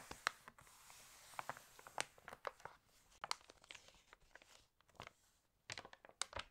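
An open, water-damaged glossy paper fashion catalog lies on a table while long nails tap and scratch its pages and the pages are turned. Quiet, bright, crisp clicks and dry crinkling rustles come in uneven bursts with almost no low end, each tap dying away instantly.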